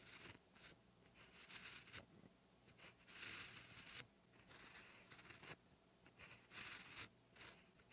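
A black 0.5 ballpoint pen tip writes Korean characters on a flat, solid-backed lined cream notebook page in a steady scratching motion. Soft, bright scratchy strokes come in short bursts with brief quiet gaps between them, and the whole clip stays at a low, close level.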